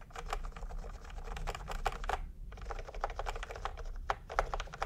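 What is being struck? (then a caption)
Plastic computer keyboard. Fingertips tap quickly on a full-size plastic typewriter-style computer keyboard with round retro peach and cream keycaps, resting on a white cloth. A fast run of short, crisp clacky clicks breaks off in a brief pause midway, then resumes, over a steady low background rumble.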